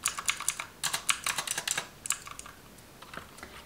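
Long white acrylic nails and fingertips type rapidly on a black plastic computer keyboard resting on a pink plastic table. About seventeen bright, clicky keystrokes come in uneven bursts with almost no low end and very short decay. The typing thins out into softer, sparser taps toward the end.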